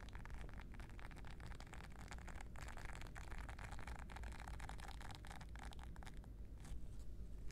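Fingertips scratch and rub across the soft bristles of a small, round, flat, solid blue silicone scrubbing pad held in the other hand. The result is a quiet, steady low rumble peppered with dense, crackly scratching ticks that flicker up into the bright range. Toward the end the scratching grows a little louder.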